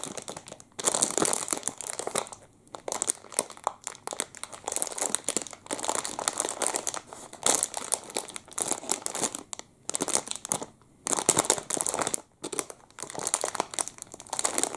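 A clear plastic wrapper around a full chocolate muffin is squeezed and crinkled with the fingertips. Dense, bright crackling comes in bursts with brief quiet gaps, with almost no low end.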